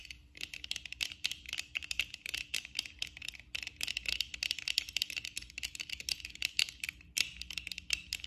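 Long acrylic nails on both hands tap rapidly on a black plastic eyeglass frame and its lenses while the glasses are worn on the face, and rings on the fingers may add small clicks. The result is a dense, irregular stream of dry, bright clicks centered near 2.7 kHz, each cut off instantly with no ring and almost no low end.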